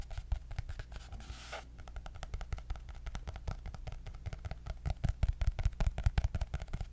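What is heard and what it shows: Long nails tap and scratch the cardboard cover of a white hardcover paper notebook with gold dots. Quick, irregular, dull low taps run throughout, with a brief brighter scratch in between, and the tapping grows louder toward the end.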